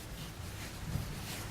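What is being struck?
Nothing is struck.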